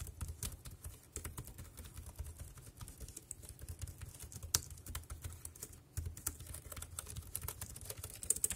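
Fingertips tap the keys of a dark grey compact plastic wireless keyboard resting on a plastic sheet, making quick, dry plastic clicks with bright, short snaps that die away almost instantly. The taps come in an irregular stream, with a brief pause near the six-second mark, over a steady low hum.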